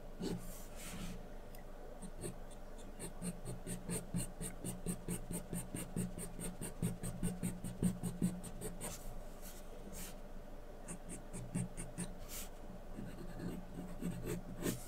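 A wooden pencil held in the fingers drags its graphite tip across a large flat sheet of white drawing paper resting on a board, making sketching strokes. Soft, dry scratching comes in quick, uneven bursts over a steady low hum, with brighter hissy scrapes on the stronger strokes.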